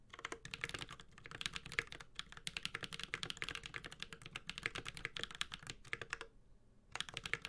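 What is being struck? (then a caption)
Mechanical keyboard with plastic keycaps and metal case. A Space65 Cybervoyager 65% mechanical keyboard with a metal case, ABS plastic keycaps and Holy Panda switches is typed on continuously with the fingertips of both hands. Rapid, bright, clacky keystrokes ring out briefly, centered around 2.1 kHz, with short pauses near 2 seconds and between about 6.3 and 6.9 seconds.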